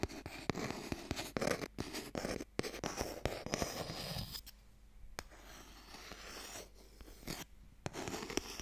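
Long fingernails scratch and tap a small, hollow wooden Mikado box held upright, working over its surface and its end. Dry, crunchy scraping is broken by sharp, quick taps with no ring. A quieter stretch of lighter scratching comes midway before the tapping picks up again.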